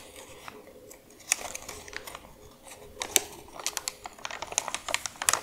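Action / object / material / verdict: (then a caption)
scrape / folded printed paper leaflet / paper / none. Long nails scratch and crinkle a thin, folded, printed paper medicine instruction leaflet lying flat on a dark surface, while fingertips smooth it out. Bright, crisp crackles and sharp ticks come in uneven bursts over a soft, hissy rustle, with almost nothing low.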